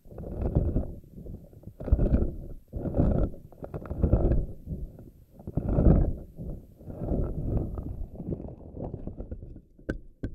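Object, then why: Silicone spiky ball. Long nails scratch and fingers squeeze the rubbery strands of a pink silicone spiky anemone ball. Dull, low, squishy rustling rises and falls in repeated swells, and a few sharp clicks come near the end.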